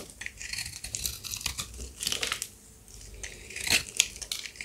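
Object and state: Dry soap bar being scraped.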